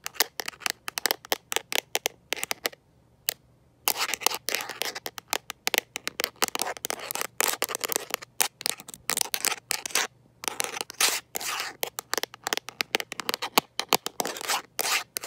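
A smartphone in a mint-green rubber and plastic protective case, held in one hand, is tapped and scratched by long nails fitted with metal paperclips. The result is a rapid stream of dozens of crisp, bright clicks and scratchy scrapes with almost no ring. There are brief pauses near the three- and ten-second marks.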